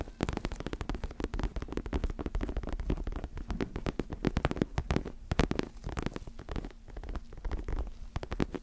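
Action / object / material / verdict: scrape / fabric-covered neck pillow with soft filling / fabric / none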